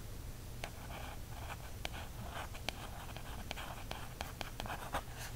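Fingers and then a wooden stick trace and scratch across the coated card back cover of a small paperback birds field guide. Soft, papery rubbing sweeps are broken by a series of brief, sharp ticks, all over a quiet, steady low hum.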